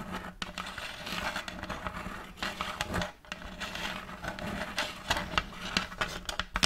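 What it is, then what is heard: Wooden tray scratched with nails. Long fake nails scratch and rub across a large, round end-grain wooden tray with a checkerboard block pattern and a raised rim, held upright. A steady, dry, bright rasp of scraping is broken by sharp little clicks and skitters, with a brief lull just after the three-second mark. The scratching picks up again with more scattered, pointed taps toward the end.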